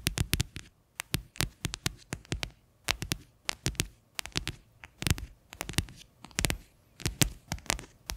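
Medium-length natural nails tap and scratch the flat bottom of a medium, faceted white plastic bowl with a recycling mark, turned upside down, hollow and empty, resting on a yellow base beside a black microphone. Many quick, sharp clicks in uneven bursts, each with a bright attack and a short hollow low body, die away almost at once, with soft scratchy rustles between them.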